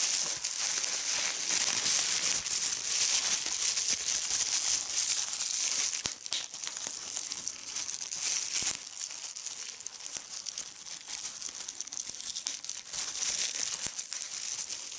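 Fingertips with red nails pinch a small, crumpled piece of clear plastic bubble wrap, popping individual bubbles. The result is a steady, dense stream of bright crinkling with sharp little pops and snaps, almost all in the high range with no low end. It grows slightly quieter in the second half.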